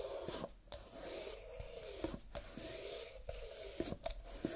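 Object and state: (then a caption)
Stack of paper cups. Fingertips rub and scratch along the ridged, stacked rims and cardboard body of a stack of nested, empty paper cups lying sideways and held in both hands. A soft, steady, papery rasping hiss with bright, airy edges swells and fades, broken by a few sharp ticks. It carries a faint hollow hum around 324 Hz.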